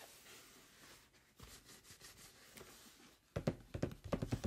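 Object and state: Cardboard box.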